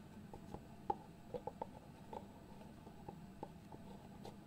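Fingertips tap and slide on the lid of a small hollow white cardboard box held in the hands. The result is soft, dry, hollow taps with a faint midrange knock, scattered irregularly over a quiet, low background hum, with light scraping between the taps.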